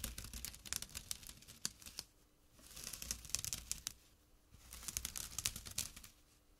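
A small, flat, empty jute burlap drawstring pouch lies on dark cloth and is scratched with short fingernails and fingertips. Three bursts of dry, rough, bright scratching and rustling are separated by brief quieter pauses. Quick crackly strokes have almost no ring.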